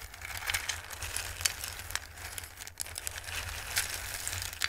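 Both hands dig into a dark bowl full of hard, dried, Christmas-shaped raw pasta, rustling the pieces with their fingertips. The pieces make a dry, bright, crinkly rattle with scattered sharp clicks, over a faint, steady low hum.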